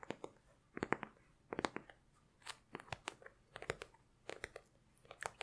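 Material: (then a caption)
Leather. A hand-sized, flat black textured leather (or faux leather) zip case with small metal studs, hollow and empty or lightly filled, is held close and tapped and scratched with long white-painted nails. Quiet, crisp, dry clicks and scratchy crunches come in quick clusters separated by brief pauses, each fading almost instantly with bright upper edges.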